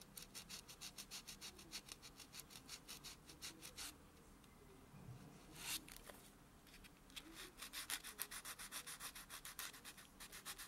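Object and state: Fingernail buffed with a foam buffer block.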